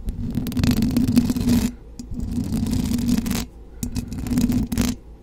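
Long blue acrylic nails on both hands scratch and tap the hollow, rounded metal mesh grille of a silver USB condenser microphone. The sound comes in three dense bursts of rough, crackling scrapes, each with a strong low resonant buzz around 240 Hz, separated by brief quieter gaps.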